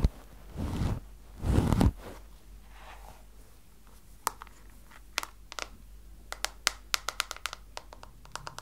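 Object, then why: Plastic hairbrush. Long blue-painted nails work over a small pink plastic detangling hairbrush held in one hand, first giving two short, brushy scratching bursts across the bristles. After a quiet pause, the nails tap the back of the hollow plastic head, producing a scattered series of about twenty sharp, bright, dry clicks that die away almost instantly over a faint low hum.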